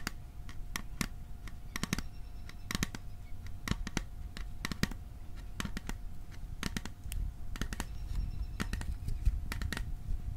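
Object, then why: Small hollow metal tin. A small, hollow, cylindrical metal popcorn tin with a printed winter scene is held upright and tapped on its side with fingertips and nails. The result is a quick, irregular run of short, dry, clicking taps with very little ring, over a low rumbling background and a faint steady hum.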